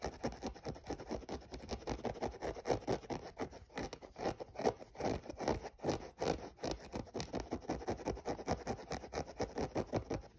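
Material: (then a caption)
Synthetic mesh. Fingernails scratch the textured mesh upper beside the laces of a hollow, empty grey synthetic mesh running shoe. The result is a steady run of quick, dry, papery scratching strokes in an uneven rhythm. The sound is mid-pitched and soft, with no ring after each stroke.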